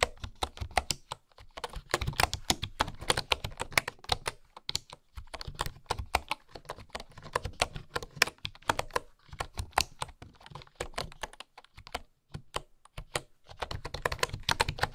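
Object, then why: Bamboo keyboard with wooden keys. Fingertips with long nails type on a bamboo keyboard with flat wooden keys, producing rapid, bright, dry clicks and taps. The typing comes in quick bursts separated by brief pauses, each tap dying away almost instantly.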